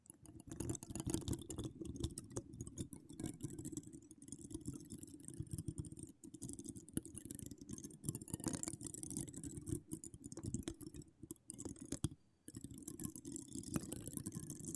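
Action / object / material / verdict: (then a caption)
scrape / metal mesh microphone grille / metal mesh / none. Long decorated acrylic nails scratch a hollow metal mesh microphone grille in a dense, continuous run of crackly, rasping strokes. The sound has a heavy low rumble with a thin bright fizz on top. It breaks off briefly about three-quarters of the way through before the scratching resumes.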